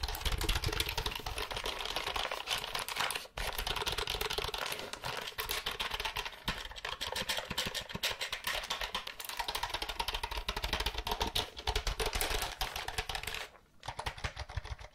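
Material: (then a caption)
Plastic. A compact mint-green and white plastic computer keyboard with plastic keycaps and a hollow body, held up in both hands, is tapped and clicked rapidly by long acrylic nails. A dense, continuous stream of sharp, bright plastic clicks and taps has a light hollow rattle underneath. Brief pauses fall near 3 and 13.5 seconds.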